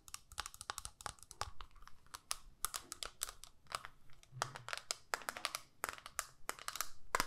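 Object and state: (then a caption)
Plastic eyeshadow palette. Long nails tap and scratch the clear lid of a small, flat plastic eyeshadow palette holding pink and brown shades. Quick, sharp clicking taps with bright, crinkly scratching come in a steady, irregular stream. Each tap stops almost at once and the whole clip stays quiet.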